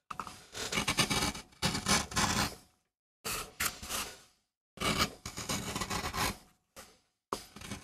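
A gouge carves a rose design into a small, flat, solid MDF relief printing block held by the fingertips. Bright, rasping scraping strokes come in several bursts separated by short silences, each cut fading quickly.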